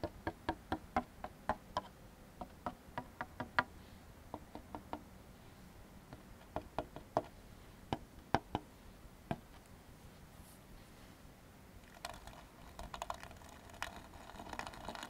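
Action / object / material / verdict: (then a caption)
tap / molded paper fiber plate tapped with a plastic comb / paper fiber / none. An upside-down white molded paper fiber plate, held in one hand, is tapped and scraped across its bottom with the edge and teeth of a black plastic comb. Sharp, dry, very short clicks and taps come at an irregular pace over a quiet background, then give way near the end to a denser, brighter raspy scraping.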